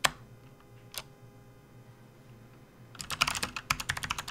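Both hands type with their fingertips on a full-size, RGB-backlit plastic membrane gaming keyboard resting on a desk mat. Two isolated key presses come first, then a quiet pause, then a quick run of presses, twelve in all. Each is a short, bright plastic click with almost no ring.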